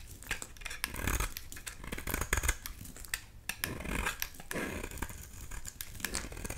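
A solid yellow oval bar of soap held in the hand is shaved with a utility knife blade, sending fine flakes falling. Quick, dry scraping and crackling strokes come in an irregular series, with bright, crisp edges over a low, soft rumble. Each short shave cuts off almost at once.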